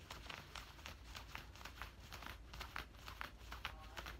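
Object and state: Scratching on cotton cargo pants.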